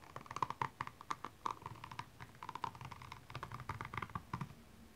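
The pointed tip of a makeup brush handle scratches across the small rhinestones covering a single blue high heel, which lies empty and hollow on its side. The result is a rapid, uneven series of quiet, dry clicks and ticks, each with a faint tone near 1 kHz, over a soft scraping bed.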